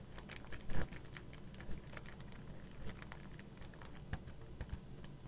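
Long matte black acrylic nails tap and scratch across a flat card of twelve raised, metallic-look plastic skull stickers on a cardboard backing lying on a table. Quiet, dense, quick clicks and scrapes patter throughout, with a few sharper, louder taps standing out over a low, steady background rumble.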